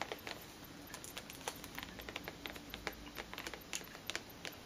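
Long green nails tap and scratch the cellophane-wrapped sides of a tall cardboard perfume box, which is held upright in both hands. The result is a quiet, irregular string of sharp, bright clicks and crinkles that die away almost instantly, over a faint hiss with very little low end.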